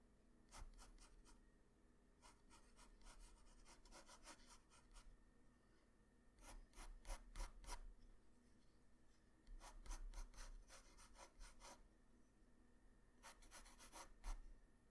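A pencil tip rubs and scratches continuous strokes across a flat white sheet of drawing paper at the lower left of a sketch. Bursts of quick, scratchy strokes come in clusters separated by brief pauses, over a quiet, steady low hum.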